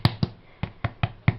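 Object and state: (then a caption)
Crisp, well-baked bread crust. The brown, crispy top crust of a freshly baked white loaf made from Aldi's crusty white bread mix is knocked six times. Each knock is a short, dull, hollow thud with a brief dry click on top. The crust is very crispy, a sign the bread is well cooked.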